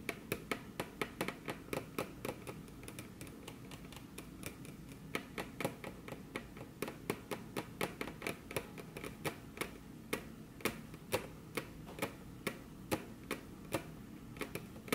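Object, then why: Wooden table top tapped with fingernails. Very long curved fingernails, on crossed hands, tap their tips against a flat, solid, glossy dark-brown wood-grain table top. Quick, sharp clicks come in an irregular stream for the whole clip, with short bright ticks over a soft low body that dies away almost instantly. The level stays quiet and steady throughout.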